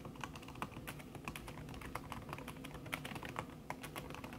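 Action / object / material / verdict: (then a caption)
tap / laptop keyboard with silicone key cover / plastic, silicone / none. Fast typing with long fingernails on a backlit laptop keyboard in a silver aluminum body, its keys covered by a thin red silicone skin. The clip is a rapid stream of soft, short clicks and taps with brief, dry decay, layered over a low background hum, with no speech.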